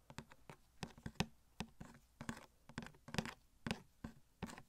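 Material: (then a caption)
Cardboard. Fingertips and nails tap and scratch a small, hollow cardboard Elastigirl Funko Pop box with a plastic window, held sideways with the figure inside. About fifteen quiet, dull, hollow taps land in an uneven rhythm, each with a low thump that dies out almost at once. Brighter scratchy scrapes sit between the taps.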